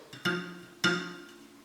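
A steel spoke on an old bicycle wheel is plucked or tapped, giving a faint tick followed by two twangy, short-ringing notes that fade quickly. The spoke sounds loose, then very loose, as a dull sound rather than a clear ring.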